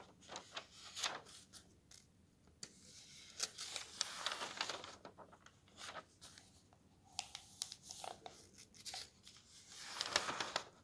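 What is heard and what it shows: A thick softcover guidebook with thin glossy paper pages lies open on a desk while fingertips slide along and turn the pages. Bright, crisp paper swishes and soft rustles come in irregular bursts, with sharper flicks as pages are turned over.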